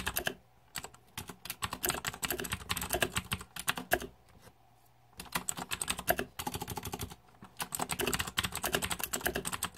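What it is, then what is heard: Plastic mechanical keyboard being typed on. Fingertips type on the plastic keycaps of a green-backlit Razer 2014 Deathadder mechanical keyboard, producing rapid bursts of bright, sharp clicks and clacks. The typing stops briefly near the start, again for about a second in the middle, and once more before resuming to the end.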